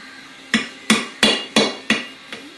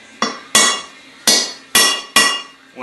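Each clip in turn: First: crankshaft oil seal not yet seated. Second: oil seal fully seated.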